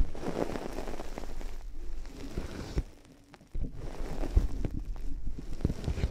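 White plastic headphones resting on a binaural mic have their plastic headband and earcups scratched and tapped with long nails. The result is a dense, low-heavy, close-up run of scratching and crackling with short, dry taps. A near-silent gap falls around the middle before the scratching resumes.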